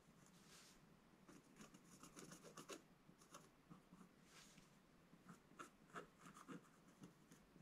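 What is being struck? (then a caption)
Scratch-art paper scratched with a wooden stylus. A wooden scratch stylus scratches lines into the coating near the top of a black-coated scratch-art page, a solid sheet in a book lying flat on a table. Quiet, dry, raspy scratching strokes come in short bursts with bright edges and a low papery rub underneath.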